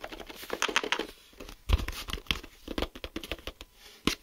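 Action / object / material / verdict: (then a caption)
tap / plastic geometry set case / plastic / none. Fingertips and nails tap and scratch a closed, hollow, clear plastic geometry set case filled with drawing tools, first on the back and then the front. The result is a run of quick, dry clicks and crinkly scratches with bright edges, some landing as louder, fuller knocks.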